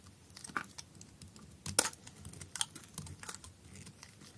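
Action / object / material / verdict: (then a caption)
scrape / bar of soap cut with a knife blade / soap / none. A solid blue bar soap with holes, held in the hand, is shaved into thin slices with a utility knife blade. Quiet, dry scraping and crisp crackling slices come in an irregular string, with the sharpest, brightest cuts near the middle. Each sound is short and dies away at once, leaving faint low rustle between cuts.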